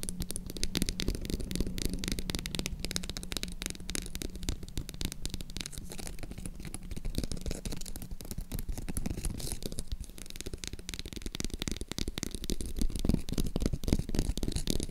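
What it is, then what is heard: Faux leather croc-embossed purse. Long acrylic nails scratch and tap the surface of a green croc-embossed faux leather zip purse held sideways. Dense, rapid, uneven scratching and tapping fills the clip, full-bodied and low-heavy with crisp clicks, while a faint steady low hum runs underneath for much of it.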